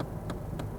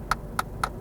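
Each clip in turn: First: dense dashboard plastic. Second: cheap, thin glove box plastic.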